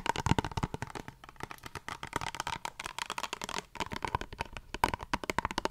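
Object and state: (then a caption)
Plastic face wash tube. Long fingernails tap and scratch the surface of a small squeezable plastic face wash tube. The result is a rapid, uneven run of sharp, dry clicks mixed with scratchy rustling. A faint plasticky ring sits near 1 kHz.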